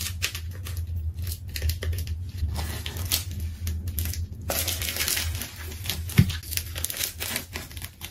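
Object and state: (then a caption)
Plastic tape ball being cut. A craft knife slices through a pink and rainbow layered plastic tape ball, with tape tearing away in sticky, crinkling rips. Dense bright crackles and peeling sounds come in rapid bursts, louder and busier in the second half, over a steady low hum.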